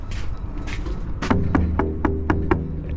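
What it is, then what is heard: Tight cargo strap. A hand knocks on the load-securement straps of a flatbed trailer after the load has been strapped down, producing six quick, evenly spaced low thumps, each with a short taut twang over steady background rumble. The sound shows the straps are very tight, as they should be.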